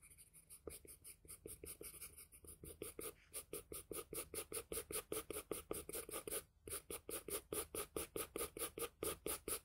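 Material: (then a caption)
Paper. The graphite tip of a wooden pencil scratches across a flat sheet of drawing paper in repeated shading strokes. It makes a rapid, steady rhythm of short, dry, bright rasps, with a brief pause partway through before the strokes resume.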